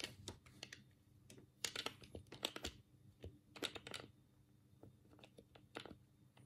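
A black, hollow plastic Sega control pad is held in both hands while the thumbs click its D-pad and face buttons. The result is a quick, irregular run of short, bright plastic clicks and taps over a low, steady hum.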